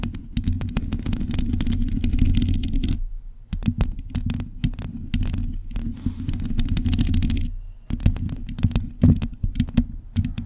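Long pointed nails on both hands scratch and tap the bare metal mesh grille of a black microphone. A dense, low, rumbling scrape is broken by many sharp, bright clicks. It drops out briefly around three and a half seconds and again near eight seconds, then resumes.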